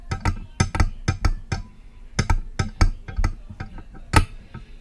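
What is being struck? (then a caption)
Metal microphone body. Long press-on nail tips tap the side of a silver metal USB microphone's body, producing about fifteen short, dry, irregular clicks. Each tap has a deep, boomy low thump with a bright clicky edge that dies away almost at once.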